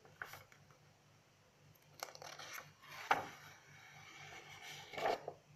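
Long acrylic nails scratch and rub across a page of an open lined paper notebook resting on a table, then lift a page to turn it. Quiet, dry scratching and papery rustling are broken by a few sharp ticks of the nails against the paper. The brightest, loudest one comes just after three seconds, with another near the end.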